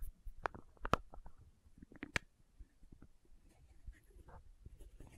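Long nails tap and scratch the red plastic cap of a small labeled plastic condiment bottle. A few sharp, quiet clicks with short bright tones around 1.3 kHz stand out over soft, irregular scratching and rustling. The taps are brief and dry with almost no ring.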